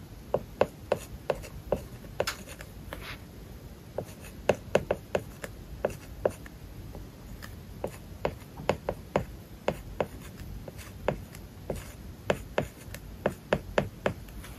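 A stylus writes a list of words on an iPad screen covered with a matte plastic paper-like film. Soft, dry scratching strokes run throughout, broken by many short, sharp taps with a faint mid-pitched tick as the tip meets the surface.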